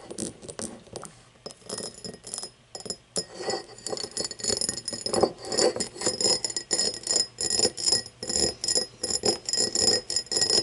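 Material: Glass.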